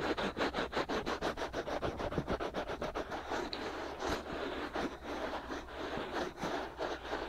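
Fingertips rub and scratch the two soft, hollow, white silicone ear-shaped pieces of a binaural microphone. Quick, rhythmic strokes of close, broadband scratching and rubbing noise repeat steadily throughout, loosening into slower, uneven rubs later.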